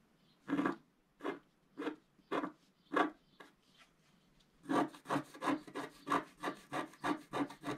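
The tip of a wooden stylus scrapes across a flat, black-coated scratch-art card, making short, dry, raspy strokes with a bright, papery hiss. A few well-spaced scrapes come first, then a faster, steadier run of strokes follows after a short pause.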